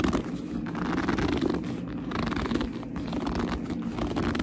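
Long nails scratch and grip the flap and front of a small black leather purse. The result is a steady stream of dense, squeaky rubbing and scratching with a warm low-mid body, and little high-end brightness.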